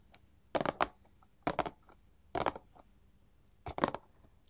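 Long gold metal filigree claw nails on both hands tap and scratch a small, flat, printed paperboard candy box resting on a table. Four short bursts of quick, dry, papery clicks and scrapes come in fast clusters, with quiet pauses between them. Each burst has a bright crackle and almost no low end or ring.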